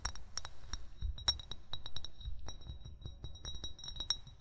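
An upright, hollow amber (brown) glass bottle, fill level not visible, is tapped quickly with short fingernails and fingertips. The result is a rapid, uneven series of bright glassy clinks, each with a short high ring, over a soft low rumble.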